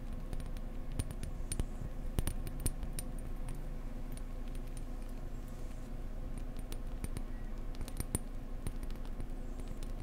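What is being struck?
Decorative egg.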